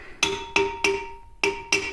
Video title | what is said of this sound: Infill cavity grouting steel parts on a DIY CNC machine. Modified PrintNC. | that ring sound like that's kind of how it all sounded